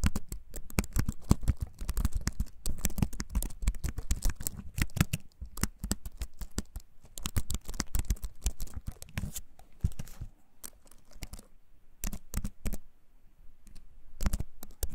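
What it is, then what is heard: Wooden computer keyboard typing. A compact wooden-framed computer keyboard is held above an open book while fingertips press its keys in steady, fast typing taps. Each tap is short and dry, with a low thud and a bright click. The taps thin out into sparser bursts with brief pauses near the end.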